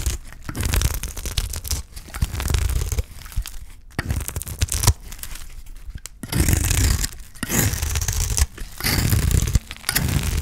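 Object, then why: Soap bar scraped with a knife blade. A utility knife blade scrapes shavings off the edge of a solid bar of dry green soap held in the hand. The result is a run of dry, crisp scraping and tearing strokes, each with a low, rough body and bright grainy crackle, separated by brief quiet pauses.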